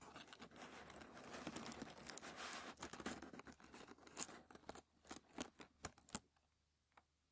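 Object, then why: Thin tissue paper sheet. Bare fingertips rub, press and crinkle a large, very thin, already-crinkled white tissue paper sheet, the wrapping from a shoe box, lying flat on a light wooden table. A dense, bright rustling and crinkling fills the first few seconds, then breaks into separate crisp crackles with short quiet gaps. It fades out with one faint tick near the end.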